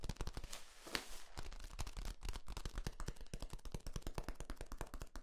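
Fingertips tap and squeeze the ridges of a long, hollow, yellow, ribbed corrugated plastic flexible tube held across the microphone. The result is a rapid, steady stream of short, crunchy clicks that die away almost instantly, with a brighter, hissy crinkling at the start.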